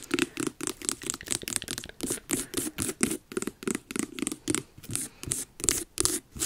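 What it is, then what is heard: Carved pumpkin. Long nails scratch and tap the orange rind on the top and front of a medium, hollow, carved jack-o'-lantern pumpkin. The result is a rapid run of dry, close scratching bursts and taps, with a hollow low body and a bright, hissing edge.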